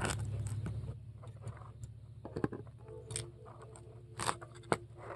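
A metal scoop scrapes foam balls out of a large polystyrene foam ball with carved holes, making soft irregular scratchy crunches and occasional sharper squeaky clicks. A brief tonal squeak near 465 Hz sounds in the middle, all over a steady low hum.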